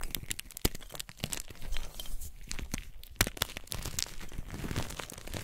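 White solid blocks and chunks of magnesium carbonate gym chalk, resting on a pile of chalk powder, are crushed and squeezed in bare hands with painted nails. A dense run of dry, crunchy crackles and sharp snaps is heard over soft, gritty crumbling. The chalk breaks apart and crumbles into pieces.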